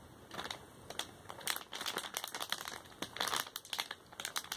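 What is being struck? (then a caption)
Thin plastic snack bag. An empty, thin, flexible printed plastic candy-kit bag, about A5 size, is held in both hands and crinkled and flexed with the fingertips. It gives bright, crackly crinkling in uneven bursts with almost no low end. Each crackle stops almost at once.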